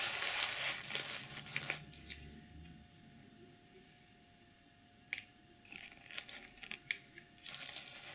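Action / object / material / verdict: scrape / plastic sequin pouch / plastic / none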